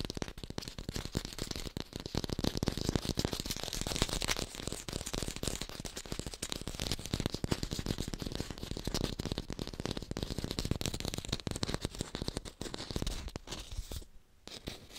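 An artificial yellow lemon held in the palm is tapped rapidly with long pink nails, making a dense, continuous stream of quick, dry clicks with a rattling texture and a low thump beneath them. The tapping holds steady until it briefly drops out near the end and resumes softly.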